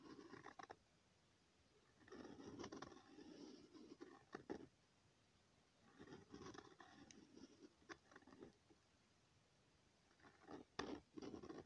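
A pen tip scratches across a thin, flat sheet of lined notebook paper, drawing overlapping circles. Four bursts of soft, papery scraping are separated by short silences, with a dull mid-low rasp and brief bright scratchy streaks.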